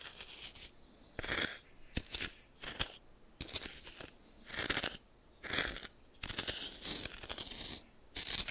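A red plastic spoon stirs and scrapes white coarse salt crystals in a small glass bowl held in one hand. Irregular bursts of bright, gritty crunching and scraping rise and fall over about eight seconds, separated by brief quiet gaps.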